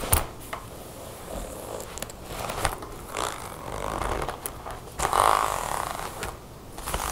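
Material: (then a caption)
Faux leather. A black faux leather jacket with a long brass zipper lies flat on a table while long painted nails and fingertips work the zipper, then rub and scratch across the leather. The clip is filled with sharp clicks, taps and scratchy rasps, with brighter bursts of friction noise and a louder swell of rubbing near the middle.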